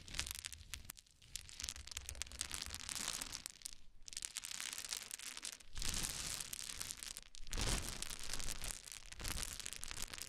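A pile of many small solid wooden cube chips is poured from the hands and then raked with the fingers. The result is a dense, continuous clattering and crunching rattle with bright, hissy highs over a low rumble, easing briefly into quieter gaps between handfuls.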